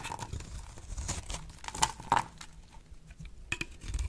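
A blade slices a solid, oval, dry pink bar of soap held in the hand into brittle chips. The sound is a steady run of crisp scraping and crackling, punctuated by a few sharper snaps with a brief ringing tone near 900 Hz. Each cut fades almost instantly.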